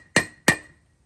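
Two hammer blows on a race driver seat a steel front wheel bearing race into the wheel hub of a Toyota 100 Series Land Cruiser / Lexus LX470. Each strike gives a sharp, solid metallic clank with a bright ring near 1.9 kHz that fades within a fraction of a second. The solid sound shows the race is fully driven in.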